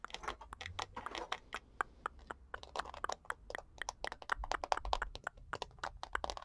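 Long nails tap and scratch the hollow plastic back and handle of a purple plastic paddle hairbrush with a rhinestone-studded back and a glitter heart. The result is a quiet, rapid, irregular string of sharp, dry clicks and crinkly scratches. Each one is centered in the midrange with a crisp bright edge and dies instantly with no ring.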